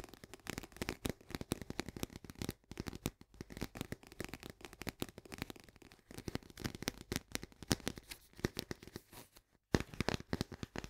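Long painted nails rapidly tap the sides of an Orzo Bimbo barley coffee-substitute canister, a medium paperboard cylinder with a green plastic lid that is partly filled and held in both hands. The quick, dry clicks and soft thuds come in dense, uneven bursts. Each tap has a hollow low body and dies away almost at once, with brief pauses near 2.6 and 9.7 seconds.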